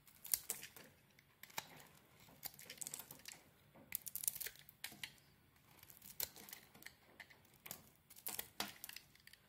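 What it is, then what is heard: Soap bar being shaved. A red and green solid soap bar, held in a hand with glitter nails, is shaved with a metal blade. The quiet, dry scraping comes in irregular bursts of bright, crisp crackling and crinkling, each stroke cutting off sharply with almost no ring.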